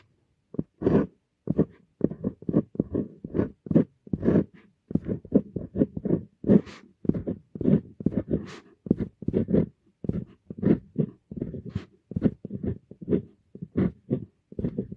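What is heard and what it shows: A Kakimori stainless steel dip pen nib, held in the fingers, scratches across a flat sheet of writing paper resting on a metal clipboard while handwriting Korean text. A steady run of short, dry, scratchy strokes follows one after another in quick, uneven bursts with brief pauses between them. Each scrape stops almost instantly, and the sound sits mostly low and mid with occasional brighter flicks.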